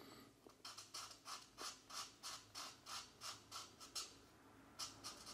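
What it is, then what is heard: Marker strokes on a paper coloring book page. The felt tip of a plastic marker is stroked across a thin paper page of an open paperback mandala coloring book lying flat on a desk mat, while the other hand holds the book still. About sixteen short, bright, scratchy coloring strokes follow one another at a quick, uneven pace, each fading almost at once.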